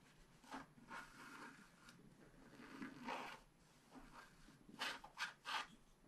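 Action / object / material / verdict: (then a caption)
scrape / coated paper card scratched with a wooden stylus / coated paper / none. A wooden stylus scratches short strokes into a thin, black-coated scratch-art card of about A4 size with a dragon design, held flat by one hand on a tabletop. Quiet, dry scraping bursts with a bright, papery rasp come in uneven strokes, the loudest clustered near the end, with little low rumble.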